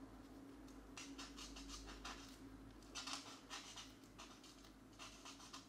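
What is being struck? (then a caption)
Felt-tip marker on a paper coloring page. A marker's felt tip rubs and scratches across a paper mandala coloring book page lying flat, while a hand holds the page still. Quick, repeated coloring strokes make soft, bright scratchy bursts over a faint steady low hum.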